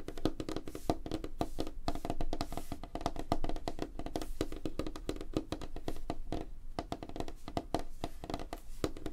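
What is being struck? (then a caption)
Wooden tabletop. Both hands rapidly tap the large, flat, solid light-wood surface of a wooden tabletop with fingertips and short nails, producing a fast, continuous stream of dry, knocking taps. Each tap is short, with almost no ring, and has a hollow woody tone centered around 316 Hz. Most of the sound sits in the low range, with very little high-end brightness.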